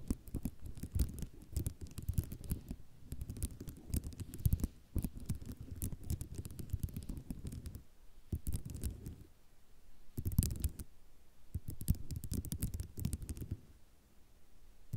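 Long nails scratch and tap across a flat sheet of small white ceramic mosaic tiles, making dense bursts of clicking, rattling and scraping. The sound is mostly low and muffled, with brief quieter pauses between bursts.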